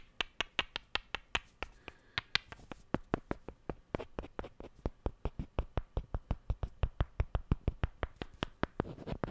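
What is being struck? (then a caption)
Two small wooden cubes. Two small solid wooden cubes are tapped and clicked against each other in a steady, quick rhythm of about forty short, dry knocks. Each knock has a low thud and a bright click that stops almost at once, with a brief slower stretch partway through and faint rustling between hits.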